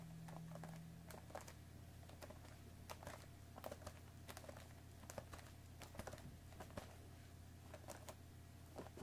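A hollow cardboard Earl Grey tea box is tapped on its top with long nails, then gripped by its sides and tapped again. The result is a quiet, irregular run of short, dry clicks with a papery high tick over a steady low hum. Each tap dies away almost at once.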